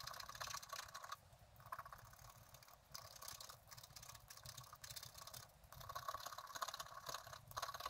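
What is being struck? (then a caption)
Coated scratch-art card scratched with a wooden stylus. A wooden stylus scratches the coating in the upper area of a coated scratch-art card lying on a table. Quiet, dry, bright scratching comes in bursts of rapid strokes, separated by brief softer pauses.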